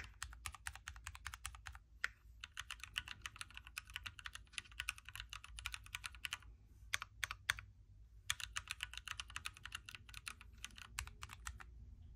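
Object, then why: Mechanical keyboard with plastic keycaps. Fingertips of both hands type on a backlit Keychron Q3 hot-swappable mechanical keyboard with a knob, red switches, a metal case and plastic keycaps, resting on a Star Wars desk mat. Rapid, crisp, bright clacks follow one another in quick runs, with brief pauses around two seconds and between about seven and eight seconds. Each keystroke is short and dry and dies away almost at once.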